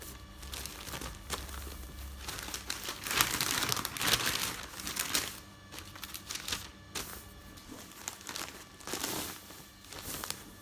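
Newsprint newspaper pages held up close are flipped and crinkled by hands with long nails, then rubbed flat. Bright, papery crinkling and rustling swells to its loudest in the middle, then eases into softer, irregular rubbing and crackling.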